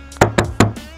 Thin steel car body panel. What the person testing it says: kalau ada isi pasti beda rasanya pasti beda ketukannya